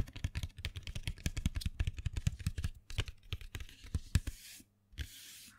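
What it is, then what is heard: Cardboard box of colored pencils. A small printed cardboard box full of colored pencils is held in hand and scratched and rubbed with fingernails. A quick run of dry, close scratching strokes with soft low thumps gives way to a steadier bright rubbing hiss. After a brief pause, one last tap and more hiss follow.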